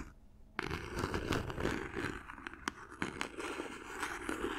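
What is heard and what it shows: Long nails tap and scratch across the surface and corners of a small, hollow cardboard gift box covered in silver paper, held close to the microphone. After a brief quiet start, a dense, irregular run of crinkly scraping and scratching follows, broken by sharper taps with a bright papery edge.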